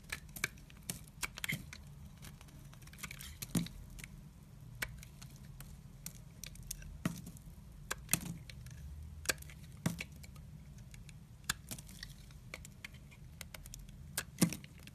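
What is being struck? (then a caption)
Bar of soap cut with a blade. A red-handled utility knife blade shaves thin slices off the edge of a solid pink oval bar of soap held in the hand. Repeated scraping cuts produce short, crisp clicks and bright crackling snaps at irregular intervals over a low, steady hum.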